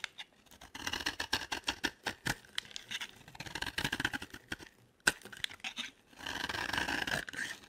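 A solid yellow bar of soap held in the hand is cut and scraped with a metal blade. A rapid series of dry, crisp cuts and scratchy clicks with a bright, high-pitched edge gives way to one sharp, louder snap. A longer, steady scraping stroke ends the clip.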